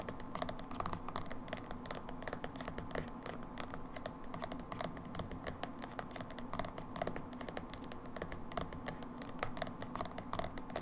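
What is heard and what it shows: Long nails rapidly tap and scratch the side of a small, dark plastic hair dye jar with a label, held in one hand. The result is a steady stream of quick, sharp, clicky taps mixed with light scratching, each tap dying away almost instantly.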